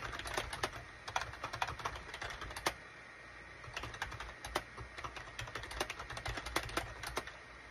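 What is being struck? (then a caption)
Plastic computer keyboard. Fingertips type on the keys of a full-size gray and cream SHIPADOO K600 wired USB plastic keyboard with a hollow plastic case, resting on a desk mat. Irregular runs of short, sharp, bright clacks die away almost instantly, with a brief pause near the middle. A steady low hum and a faint constant tone sit underneath throughout.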